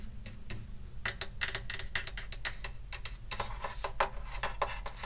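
Fingertips tap quickly and irregularly on the wooden top of a hollow wooden acoustic guitar held in the lap, near the soundhole and at the upper bout. Each tap is a short, dry, bright click with a brief hollow tone that dies away almost at once. A steady low hum runs underneath throughout.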